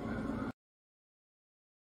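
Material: Nothing is struck.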